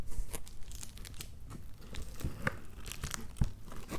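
Fingertips and nails scratch and tap red plastic bubble wrap wrapped around a shoebox, which sits inside an opened cardboard box. The result is a quiet run of crinkly, scratchy rustles broken by short, dull taps with a low thump behind them.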